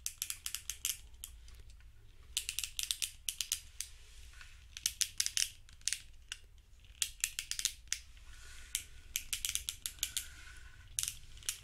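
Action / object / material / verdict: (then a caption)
tap / plastic fidget cube with rubber buttons and switches / plastic / none. Fingertips and thumbs press and click the dark rubber buttons and switches on a small grey hollow plastic fidget cube held in both hands, while a second cube sits nearby untouched. Sharp, bright little clicks come in quick clusters with short pauses between them, each dying away almost instantly over a faint low hum.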